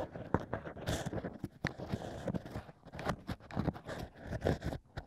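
Fingertips guide two bamboo sticks scraping inside the hole of stacked hollow cork rings set in a plush ear. Dry, crackly scrapes and soft crunches come in quick, uneven bursts, mostly low with little high content and no ring.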